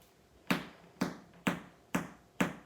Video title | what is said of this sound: Adrian Heeley Soda Bread | lift the bread up flick it so you know it's hollow